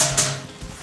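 A knock on a steel support column, the structural element that must stay when the non-load-bearing wardrobe walls are removed. A single sharp metallic knock rings with a bright high-frequency tone and a steady low hum near 137 Hz, then decays over a fraction of a second.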